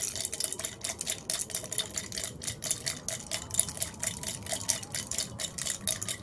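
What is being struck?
Glass tumbler with ice and liquid.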